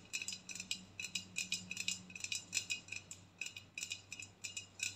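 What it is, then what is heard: Aluminium aerosol can tapped and scratched with nails. An empty aluminium aerosol body spray can, held sideways with its ribbed, embossed section facing out, is scratched and tapped with long nails. The result is a rapid, uneven series of short, bright metallic clicks and scrapes that ring around 2.6 kHz and die away almost instantly, with very little low end.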